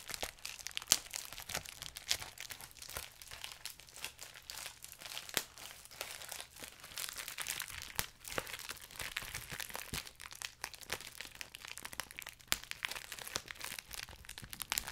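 Fingertips pinch and pop individual bubbles on a clear plastic bubble wrap sheet held close to the mic. Steady, quiet crinkling runs throughout, punctuated by sharp, bright pops that die away almost instantly. The sound is thin and hissy, with almost no low end.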